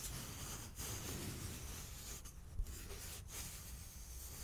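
A small, hollow, empty cardboard toilet paper tube held in both hands close to the mic is rubbed and tapped with fingertips and nails. The result is a steady, quiet, dry scratching and rasping with a low, hollow rumble underneath. It is broken by brief pauses and a soft tap near the middle.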